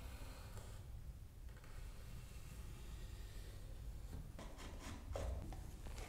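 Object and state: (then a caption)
Wooden toy car body being pared with a chisel. A hollow hardwood toy car body is marked with a pencil, then a steel chisel held by the fingertips pares and scratches along its edges and grooves. Quiet, low-heavy rubbing and rasping scrapes continue throughout. Sharper, brighter scraping strokes come in the last two seconds, peaking just past the five-second mark.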